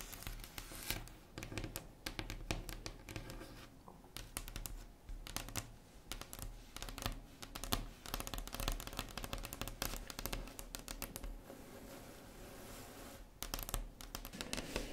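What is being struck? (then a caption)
Wooden table top. Long red acrylic nails tap and scratch across a flat, solid wood-grain tabletop. Quick, dry clicks mix with raspy scraping strokes over a low, soft body, and each tap dies away almost immediately. The tapping comes in dense bursts with brief quieter stretches of light scratching between them.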